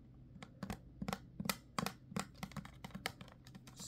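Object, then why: Plastic spray bottle. Long fingernails tap a clear plastic body spray bottle with a pump cap, partly full of liquid, held in one hand. About sixteen short, bright clicks come in an uneven rhythm over a low steady hum. A soft high hiss swells at the very end.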